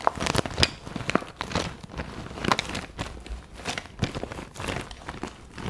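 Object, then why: Clear vinyl zip pencil case with pens inside. A clear vinyl zip pencil pouch with pink trim, filled with pens and highlighters, is held in both hands while long nails tap and scratch across its plastic. The result is a string of sharp, dry clicks over a constant crinkly rustle of the vinyl.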